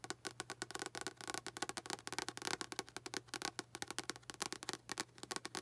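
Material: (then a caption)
Paper. Long acrylic nails tap rapidly on the front cover and spine of a blue paperback novel, "Out of My Mind," with a paper and card cover, held upright in both hands. The result is a fast, irregular run of short, dry, bright clicks and taps, with a faint steady low hum underneath.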